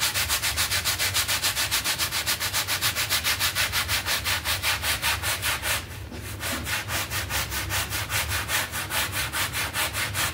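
A red hand brush scrubs back and forth over a small, wet, soapy synthetic pile carpet mat lying flat outdoors. It makes a steady run of bright, hissy rubbing strokes at a quick, even rhythm, with a brief softer break around the middle before the scrubbing resumes.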